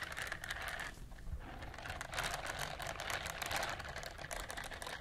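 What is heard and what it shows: A pink silicone scrubber glove is held across the microphones while long nails scratch its bristles. The result is a steady, dense, bright scratching texture with rapid crackling ticks and a brief quieter dip around one second.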